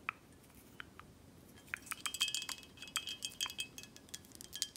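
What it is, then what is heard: Glass whisky bottle. Long acrylic nails tap the front glass and the cap of a full, dark glass Buchanan's 18 whisky bottle held in hand. A few sparse taps at the start give way to a quick, irregular run of bright clicks with short glassy pings around 3 kHz. Each tap dies away almost instantly.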